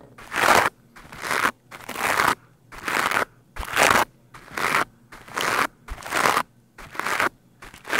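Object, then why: Foam microphone windscreen. A green plastic scrub brush with stiff bristles is brushed quickly across the top of a black foam microphone windscreen. About ten fast, separate strokes are heard, each a loud, crunchy, bright scratching burst with short quiet gaps between them.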